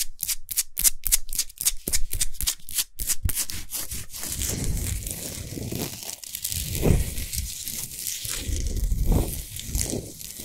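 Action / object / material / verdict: scrape / salt crystal sphere lamp / rock salt / none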